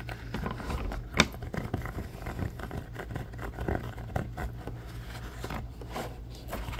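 A thin, flexible red silicone pot holder with a textured grid surface is squeezed, bent and scratched with fingertips and nails. Soft scrapes and short rubbery scratching sounds recur over a low, steady hum, with one sharper, brighter snap standing out early on.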